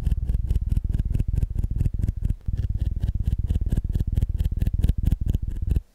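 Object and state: Soft rubber squishy toy.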